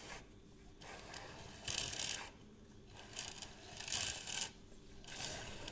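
Fingertips and nails tap, click and scratch on the hollow plastic case and crank of a measuring tape reel held close up. The result is bursts of quick, bright clicking and rasping, with short, dry decays and quieter scraping between them.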